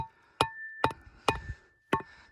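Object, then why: Bedrock tapped with a metal tool. Four sharp, dry taps on desert bedrock, checking by ear for the change between hard and soft zones. Each tap is a short, hollow, woody knock with a mid pitch and almost no ring, separated by quiet gaps.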